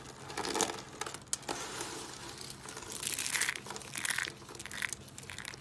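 Fingertips press, crush and scrunch a pile of thin, dry, brittle curled soap shavings in pink, green, white and yellow on a wooden table. A dense, bright crinkling crunch runs throughout, with sharp crackles and brief louder bursts and almost no low end.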